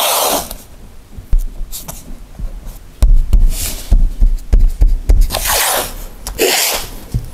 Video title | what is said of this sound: How To Fill Hollow Spots Inside Vinyl Plank Flooring LVP Laminate And Engineered Hardwood Floors DIY | when you tap it like this you can start hearing that there's a hollow spot and even a little bit of rattling also